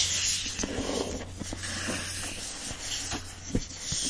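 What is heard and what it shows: Fingertips and nails rub and scratch the printed paper-covered board cover of a hardcover copy of Anne of Green Gables, first the front cover and then the back. A steady, bright, hissy scraping fills the clip, with soft scuffs and a faint low hum underneath and one sharper scratch near the end.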